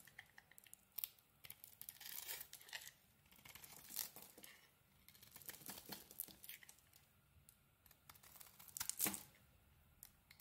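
A utility knife blade shaves crumbly flakes off a solid yellow bar of soap with a red edge, held in the hand. Quiet, dry, crackling scrapes and tearing bursts come in repeated strokes, mostly bright and high with little low end. Each stroke ends quickly with almost no ring.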